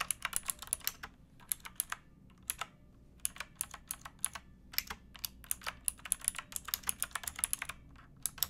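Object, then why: Mechanical keyboard with plastic keycaps. Fingertips and nails of both hands type on a pink, backlit mechanical keyboard with plastic keycaps. The sharp, bright clacks come in quick bursts separated by short pauses, each click dying away almost instantly with very little low end.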